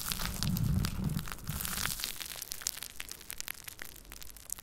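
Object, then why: Steel mesh microphone grille. Fingertips and nails scratch and rub the hollow steel mesh grille of a Blue Yeti USB microphone, with both hands on the grille. Dense, crackly scraping and rustling is heard, with a heavy low rumble in the first two seconds that then thins into quieter, bright scratchy ticks.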